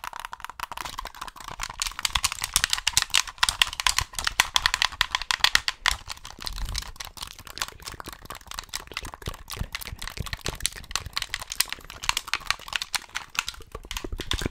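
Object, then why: Plastic game controller. Fingertips tap and click the buttons and bumpers of a hollow white plastic Xbox gamepad held in both hands over the microphone. A dense, continuous stream of short, dry, bright plastic clicks and taps runs throughout, with almost no ring, over a faint steady tone near 1 kHz.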